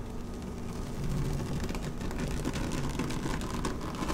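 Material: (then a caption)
Vinyl. Long nails scratch across a flat, dark blue woven PVC placemat lying on a table, producing a steady, dense rasping texture. The sound is heavy in the low end, with brief brighter scratchy streaks as the nails catch the weave, and it grows slightly louder after the first second.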